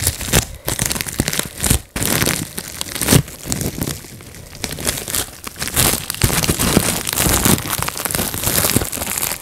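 Fingertips pop the bubbles on a clear plastic bubble wrap sheet in rapid sequence, producing dense sharp snaps over a steady crinkling of plastic. The pops come in quick bursts with brief quieter gaps, bright and crisp with some low thump beneath.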